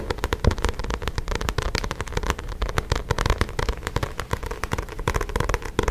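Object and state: Paperback book cover.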